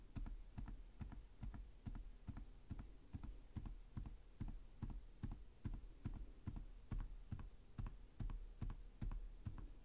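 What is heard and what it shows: One hand types slowly with its fingertips on the plastic chiclet keys of a black laptop with a hollow chassis. The result is a steady run of soft, hollow, low-pitched taps, each with a faint bright click and a quick decay.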